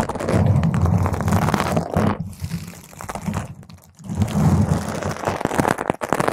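Long pointed nails scratch a round purple foam microphone windscreen from the sides, producing dense, rough scraping and crackling with a heavy low rumble. The scratching runs in two busy bursts separated by a quieter, thinner stretch around the middle.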